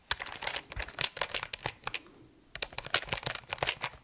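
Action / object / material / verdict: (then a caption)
tap / mechanical keyboard, plastic keycaps on aluminum plate / plastic / none. An RGB mechanical keyboard with plastic keycaps on an aluminum plate, tilted at first and then held level, is typed and tapped with fingertips. Bright, sharp key clacks come in quick irregular bursts, with a short quiet pause in the middle. Each click is crisp and dies away almost instantly.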